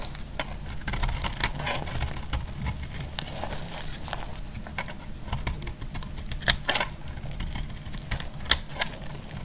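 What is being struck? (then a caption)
Solid bar of soap. A metal utility blade scrapes and cuts a solid orange bar of soap, making a steady run of short, crisp, bright scratches and clicks over a low background rumble. Several sharper snaps stand out near the end.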